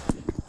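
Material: Wood.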